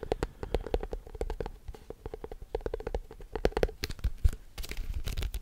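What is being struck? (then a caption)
Plastic tub. Fingertips and nails tap rapidly on the side and base of a large, apparently empty white plastic tub with a blue label, held in the other hand. The taps come as a fast, uneven run of short, dull, hollow knocks with a low thump and a steady mid-pitched ring. Each tap dies away almost at once, with a few brighter clicks where the nails strike.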